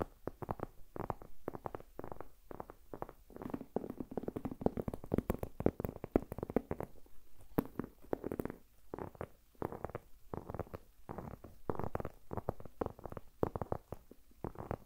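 A black leather, crescent-shaped handbag with a gold chain, hollow and empty, is held in both hands while long nails tap and scratch across the leather. The result is a quiet, steady stream of rapid, soft taps and scuffs with short, dry, muffled thuds and no lingering ring.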